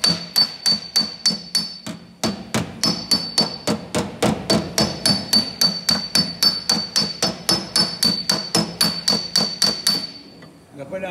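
A steel body hammer with a tape-wrapped wooden handle taps quickly and steadily across a thin, hollow, bare sanded sheet-steel car quarter panel with pull-weld marks. About 36 sharp metallic taps each leave a brief, high, bright ring, with a short pause early on before the tapping stops and fades out.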